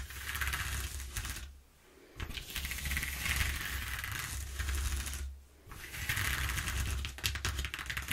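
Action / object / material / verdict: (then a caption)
scrape / corrugated cardboard sheet / cardboard / none. Long painted nails scratch and tap rapidly across the exposed ridges of a flat sheet of brown corrugated cardboard with some torn spots, lying on a wooden table. A dense, crackly rasp with bright, papery clicking rides over a steady low hum. The sound drops to near silence twice, briefly, before resuming.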